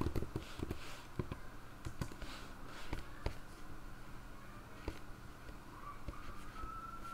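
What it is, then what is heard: Plastic laptop keyboard being typed on. Both hands with long grey nails type steadily on the hollow-body keyboard of a black plastic ThinkPad laptop resting on a lap with its screen open. Quiet fingertip and nail taps give short, dry clicks with a dull, low-heavy thud and almost no ring. A faint steady tone rises slightly toward the end.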